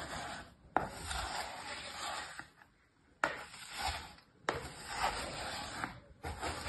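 A small orange plastic tool cuts and scrapes lines through a flat, stamped layer of kinetic sand filling a mint plastic tray, and fingertips press into the sand. Four strokes each start with a sharp crunchy bite, then trail into a soft, gritty, hissing rasp with a bright edge.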